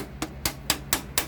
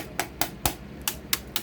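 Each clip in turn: First: hollow plastic computer case. Second: solid desktop computer case.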